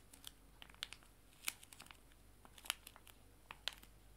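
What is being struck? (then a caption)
Foil-laminated wet wipe sachets. Two small, full, joined foil-laminated wet wipe sachets are held in both hands and crinkled and squeezed. The result is a quiet, irregular series of sharp, bright crackles and crinkles, with a few louder snaps standing out. Each one dies away almost instantly, with very little low end.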